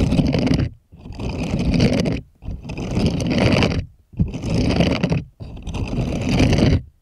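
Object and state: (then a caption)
Silicone scrubbing glove being scraped. Plastic toy hands scrape across the bristles of a purple silicone scrubbing glove with nubs. Five long, rough scraping strokes are heard, each separated by a brief silence. The rasp is full and low-heavy with little brightness.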